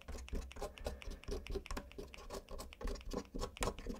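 A gloved hand rubs and scratches a cotton swab along the exposed brown switches and plate of a black plastic mechanical keyboard with its keycaps removed. The result is a steady stream of soft, dry scratching and brushing with quick, bright clicks and light taps over a low rumble.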